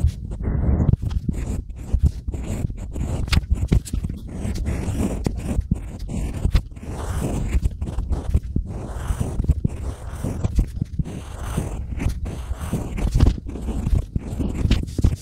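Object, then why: Unfired clay tile. A pointed stylus carves scratchy grooves into a small, flat, solid slab of tan-painted unfired pottery clay, and a hand rubs loose crumbs off the surface. The result is a dense run of short, gritty scrapes and crumbly rasps, heavy in the low end with little brightness. Quick sharp spikes punctuate the steady scratching throughout.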